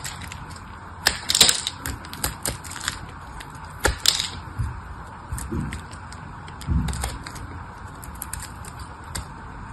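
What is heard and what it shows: A palm-sized red solid soap bar, already partly cut away, is carved and scraped with a craft knife blade by a hand with pink nails. Sharp, bright crunching clicks and scrapes come in uneven bursts, with a few duller low thuds as pieces break off, over a steady faint hiss.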